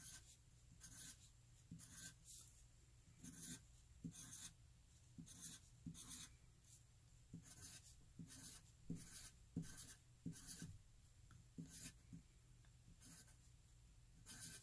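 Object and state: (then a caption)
Pencil writing on paper. A wooden graphite pencil held in the fingers writes rows of cursive e's on a flat white paper sheet, the tip scratching across the paper. Quiet, bright scratchy strokes come in short, uneven bursts over a low, steady background hum.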